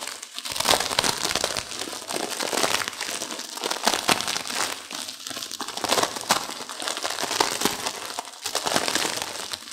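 A plastic-wrapped instant noodle pack is turned over to its other printed side, then fingertips and long nails squeeze and crush the dry noodles inside the crinkly wrapper. The result is a steady stream of bright plastic crinkling mixed with brittle crunching and crackling, with almost no low end.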